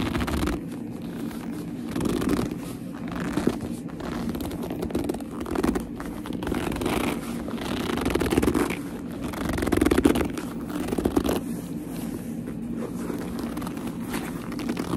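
A small black leather purse is held upright while long nails grip and squeeze its leather panels. The result is a steady run of squeaky rubbing and creaking, mostly low-mid in tone, with a few louder swells throughout.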